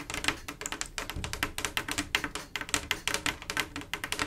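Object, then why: Mirror glass mosaic tile panel. Long acrylic nails on both hands tap rapidly across a large, solid, flat panel of small silver mirror-glass mosaic tiles set in grout, making a dense run of crisp, bright clicks with very short decay. The taps overlap in a quick, uneven rhythm over faint possible background music.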